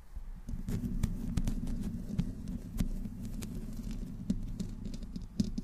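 Long nails slowly scratch the side of the hollow metal mesh grille on a black condenser microphone. The result is a dense, low rumbling scrape with a steady boomy hum underneath. Sharp ticks and scratches break through it, and it has almost no high end.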